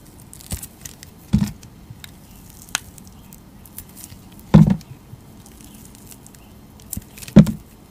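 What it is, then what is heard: Glycerin soap bar being carved. A utility knife blade cuts facets into a palm-sized bar of solid pink translucent glycerin soap, held in fingers with long teal nails. Soft, dull scraping and crackling cuts come in irregular bursts, with three louder strokes standing out among quieter ticks and scratches. The sound stays low and muffled with very little bright content.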